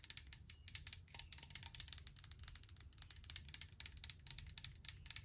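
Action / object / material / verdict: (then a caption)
tap / aluminum pump bottle with liquid inside / aluminum / none. Long nails tap and scratch the side of a hand-held brushed aluminum sanitizer bottle with a pump top and liquid inside. The result is a rapid, uneven run of sharp, bright metallic clicks with very short decay over a faint low rumble.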